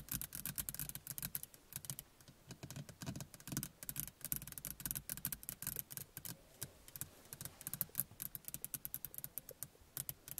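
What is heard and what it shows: A small, hollow plastic car rearview mirror housing is tapped with fingernails in quick, irregular bursts. The taps are sharp, dry clicks with a bright high end and a faint hollow low body. Each tap dies away almost instantly.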